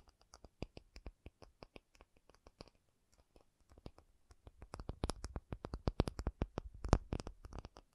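An acrylic object is tapped in a rapid, uneven series of short, dry clicks with almost no ring. The taps are soft and sparse for the first three seconds, then grow denser and louder. Each tap carries a low thud underneath a faint bright tick.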